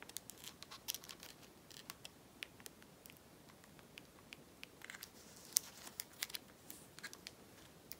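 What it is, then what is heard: Plastic mobile phone. Long natural nails tap and click on the rubber keypad buttons and dark blue plastic casing of a small, hollow Nokia 5110 mobile phone with a screen, held in the hands. The result is a quiet, irregular series of sharp, bright clicks and ticks that stop instantly with no ring, over a faint, steady hiss.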